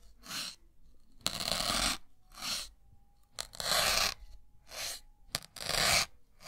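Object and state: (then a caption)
Melamine foam sponge being pierced. A white block of solid melamine foam, held in the fingertips, is stabbed over and over with a thin metal needle. Each stab gives a bright, dry crunching scrape, with short softer bursts alternating with longer, louder ones and brief quiet gaps between them.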